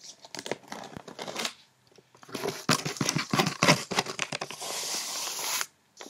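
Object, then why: Paper-wrapped cardboard box. Long red-painted nails and fingertips quickly tap and scratch the top of a medium, hollow rectangular cardboard box wrapped in glossy white paper with a blue snowflake pattern and a small silver bow, resting on a bed. The result is bursts of fast, crisp, papery clicks and crinkly scratches, with a brief pause partway through. It ends in a steady scraping rustle that stops abruptly.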